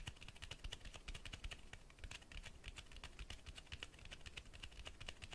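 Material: Cloth, board.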